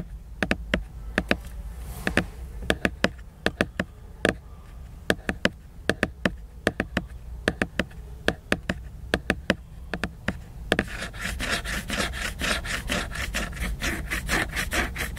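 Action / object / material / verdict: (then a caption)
scrape / laminated paper book cover / laminated paper / none. Fingernails work on the glossy laminated paper cover of a large picture book, first with sharp, irregularly spaced taps and clicks over a low steady hum. Near the end the sound turns into a denser, brighter scratching with quick repeated strokes across the slick surface.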